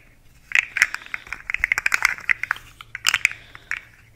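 A long, rainbow-colored, segmented plastic fidget slug with hollow segments is held vertically and twisted and flexed by hand so its segments click. A rapid, irregular series of short, dry, bright plastic clicks and crackles is heard, clustered around 2 kHz with sharp high edges and almost no low end.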